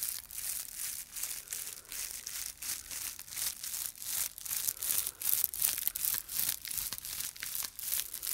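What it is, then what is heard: Dried straw Easter palm. A dried straw and grass Easter palm is held in both hands while fingertips rub and scratch along the straw bundle. The result is a quiet, bright, dry crinkling and crunching in quick, uneven bursts, with almost no low end.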